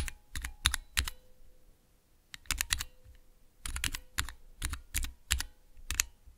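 Fingertips press the keys of a small Cherry MX mechanical switch tester fitted with clear plastic keycaps, producing crisp, bright clacks with a low thocking body. The presses come in quick bursts separated by short pauses, each dying away almost instantly, with a faint steady hum in the background.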